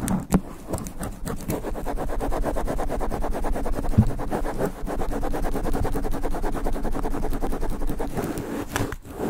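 Long black nails scratch rapidly across the top of a sponge foam microphone windscreen, producing a dense, fast, rough scratching texture that is mostly low and muffled. A few sharper scrapes stand out near the start and around the middle.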